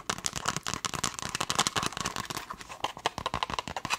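Long nails tap rapidly on a black leather glasses case held up flap-side. The result is a fast, dense stream of sharp, dry, bright clicks with almost no ring, centred around 1.1 kHz and with little low end.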